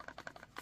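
A heavy Work Tuff Gear Mt. Lion fixed-blade steel knife, 23 ounces with its sheath, is shaken in its Kydex pancake sheath while the sheath's pins are held still. Six small, quiet, dry clicks are heard. The knife sits tight with no rattle and barely any wiggle, showing great retention.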